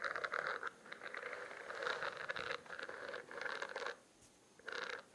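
Fingernails scratch and tap the raised bumps of a spiral notebook with a studded, textured plastic cover held close to the microphone. Bursts of dry, crackly scratching centered in the mid-upper range come in several stretches. There are brief quiet gaps between them.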